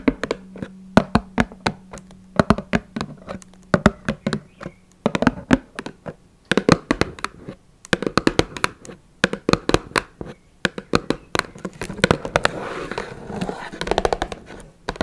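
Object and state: Cardboard tea box.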